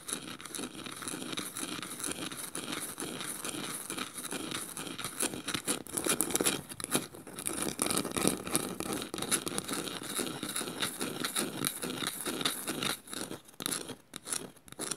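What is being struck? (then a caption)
Woven bamboo bowl. Long nails scratch across the woven underside of a small, light, hollow woven bamboo bowl. The result is a dense, continuous dry rasping with rapid crackly ticks. It has a bright, hissy top and a faint hollow body.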